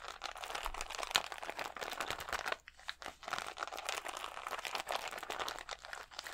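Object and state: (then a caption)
Plastic rhinestone sticker sheet. Fingernails scratch and crinkle a clear plastic sheet of acrylic rhinestone stickers held against the chest. The result is a dense, bright stream of crisp crinkling and ticking scratches with a brief quieter gap near the middle.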